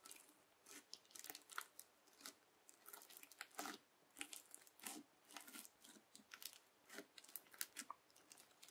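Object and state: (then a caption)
Clear bubble slime crackling. The edge of a yellow plastic knife presses and drags through a flat round sheet of clear teal bubble-filled slime. It makes repeated bursts of bright, crisp crackling pops with almost no low end. Each crackle stops sharply, with short quiet gaps between strokes.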